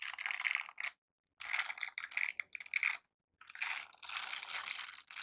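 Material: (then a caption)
Silicone. A pair of light blue silicone dishwashing gloves with bristle-covered palms, worn on both hands, rub and scratch their bristled surfaces against each other. The result is bright, dry, crackly scratching in bursts of rapid, rattly texture centered near 2 kHz, separated by short silent pauses, with no low end.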